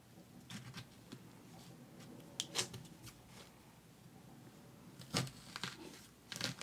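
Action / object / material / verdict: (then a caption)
scrape / whole pomegranate, leathery rind / fruit rind / none. Long orange acrylic nails on a gloved hand scratch and pick at the leathery rind of a whole, solid red pomegranate about the size of a fist, as if starting to peel it. Quiet, crisp, bright scratches and clicks come in short bursts over a faint low background, with the loudest clusters near the middle and end. Each scrape stops almost at once, leaving a dry, close-up crackle.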